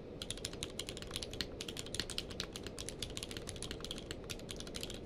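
A full-size mechanical keyboard with a blue-grey case and white and grey plastic keycaps, lying on a blanket, is typed on rapidly with the fingertips of both hands. A dense, steady run of sharp, bright plastic clicks and clacks with almost no ring sits over a soft low bed of sound.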